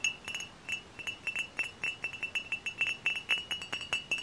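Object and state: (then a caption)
Glass bottle tapped with fingernails. Long fingernails tap on the glass body of a hollow, dark glass cider bottle with a paper label, producing a rapid, uneven series of about 25 light clicks. Each tap gives a bright, glassy ping ringing near 2.7 kHz that dies away almost instantly, with very little low end.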